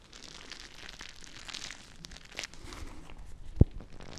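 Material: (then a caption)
Plastic. A small, full, clear plastic bag of teal gel water beads is held close to the mic and squeezed and crinkled by fingertips with long nails. Quiet, continuous crinkling and soft squishing rustle throughout, mostly low in tone with faint bright hiss. One sharper, louder snap stands out near the end.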